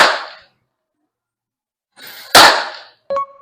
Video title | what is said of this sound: 【野球 キャッチャーミット】発砲と間違えて警察が出動！？エグすぎるミットその名も「纏」Gunshot-Level Pop Sound!? The ‘Matoi’ Catcher’s Mitt! | 私はほぼ銃声と思いました。何かが破裂したような音がします。